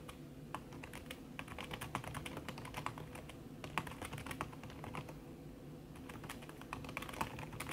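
Fast typing with fingertips and long red nails on a backlit aluminium laptop keyboard with plastic keys under a red silicone skin. Dense, soft, muffled clicks run steadily over a low hum, with a few louder taps standing out.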